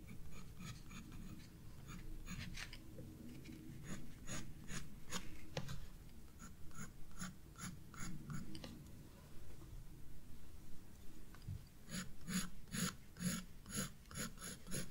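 A graphite pencil scratches shading strokes onto the flower stem on a page of a spiral paper sketchbook lying flat on a desk. Quiet, dry rasping strokes with bright, crisp edges sit over a low, steady background rumble. Toward the end the strokes come in a faster, more even run.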